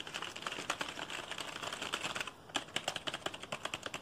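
Fingertips rapidly and aggressively press and tap the keys of a black plastic computer keyboard held vertically. A dense stream of sharp, bright plastic clicks with very short decay briefly pauses just before the midpoint, then resumes as distinct, evenly spaced taps.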